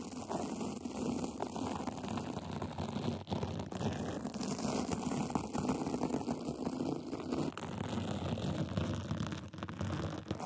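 Small white plastic tools scratch a glitter band and sequin fabric cover fitted over a microphone, producing a dense, continuous rasping crackle much like heavy rain on a surface. The texture is steady throughout, with a full low-mid body and a thin, faint high hiss.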